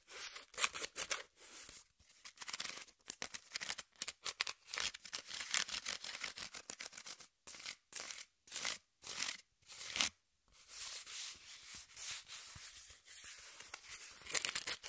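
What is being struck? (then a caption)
Corrugated cardboard sheet. A brown corrugated cardboard piece, held flat in one hand, is scratched and rubbed by long nails and fingertips. Bright, papery scraping comes in quick, dry bursts separated by short silences, with almost no low end. The strokes vary in speed and intensity across the clip.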